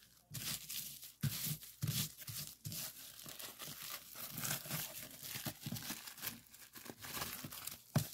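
A clear plastic bubble wrap sheet, first rolled and then laid flat, is pressed with fingertips, giving a continuous run of crinkling and crackling. Sharp, bright pops of bubbles burst through the rustle, with low thumps as the plastic is pressed.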